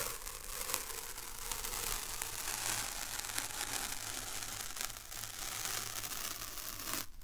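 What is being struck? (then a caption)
Paper masking tape. A white strip of thin paper masking tape with a piece stuck on it is peeled apart with fingertips and nails close to the recorder. A continuous bright, papery tearing and crinkling rustle runs throughout, with a low steady hum beneath it. The sound dips briefly just before the end.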